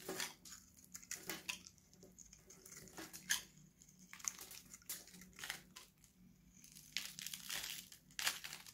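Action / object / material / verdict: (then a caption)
scrape / bar soap shaved with a blade / soap / none. A steel utility knife blade shaves a dry, solid, hand-sized oval green Nivea bar soap held in one hand, and the dry shavings pile up. Quick, dry, crinkly scraping strokes sound bright and crisp, with short pauses between bursts of cutting.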